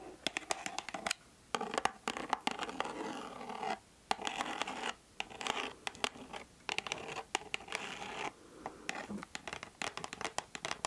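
Long nails scratch across the front of a white cardboard Mademoiselle perfume box. Bursts of dry, papery scratching alternate with brief silences, broken up by sharp, bright clicks of nail on card.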